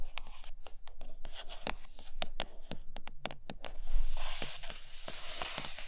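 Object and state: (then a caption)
Cardboard box tapped and scratched with nails. Long manicured nails tap and scratch the glossy top of a large, flat, printed cardboard iPad Pro box that is closed, hollow and likely empty. Quick, sharp, bright clicks sound in an uneven rhythm over a low, steady hum. Around the four-second mark, a denser, hissy scratching swells before the tapping continues.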